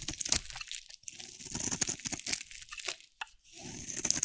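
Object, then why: Bar of soap carved with a metal blade. A metal utility blade carves and scrapes green curls off a solid, hand-sized green and teal bar of dry soap. It makes crisp, bright crunching and crinkling scrapes that run in bursts, with brief quiet pauses near 1 second and around 3.2 to 3.5 seconds.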